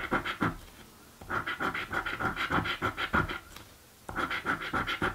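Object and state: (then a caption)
Paper scratch lottery ticket being scratched. A coin scratches the coated lower panels of a blue paper scratch lottery ticket. Quick, repeated rasping strokes come in bursts, with two short quiet pauses between them. The scratching has a dry, papery texture with a bright edge.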